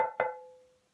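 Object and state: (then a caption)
Sound, uncrazed pearlware platter that rings. A pearlware ceramic platter from the 1820s–1830s, uncrazed, is tapped twice in quick succession. Each tap gives a bright, clear ring with a steady tone around 510 Hz that fades over about half a second. The platter rings well, unlike a crazed copy, which does not ring.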